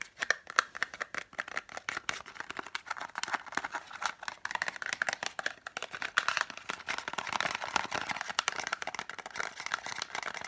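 A small green Isla Moos cardboard box, hollow and holding blister-packed lozenges, is held in both hands and tapped rapidly with long fingernails. The result is a dense stream of quick, dry clicks centered in the mids with bright upper edges and almost no low end. Each tap stops almost instantly, with a faint papery rattle between them.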